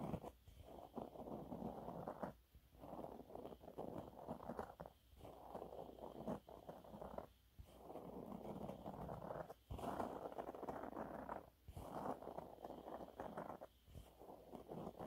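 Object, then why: Waffle-textured fabric cleaning cloth. Fingernails scratch and rub across the surface of a yellow waffle-textured cleaning cloth. The result is a soft, close, mid-pitched scraping rustle in steady bursts broken by short quiet pauses.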